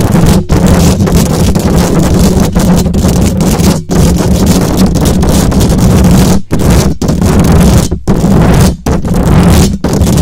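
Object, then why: Metal mesh microphone grille. Long acrylic nails on both hands scratch the hollow metal mesh grille of a silver condenser microphone. The result is a dense, continuous, low-heavy rasp with a steady hum near 176 Hz, broken only by a few brief dropouts.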